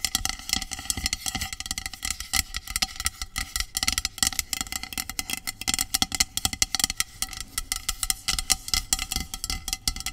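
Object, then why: Aluminum aerosol can. Long acrylic nails rapidly tap and scratch a medium, hollow aluminum dry shampoo aerosol spray can lying on its side. The sound is a dense run of sharp, bright metallic clicks that die away almost instantly, with raspy scratching and a faint ringing tone from the can underneath.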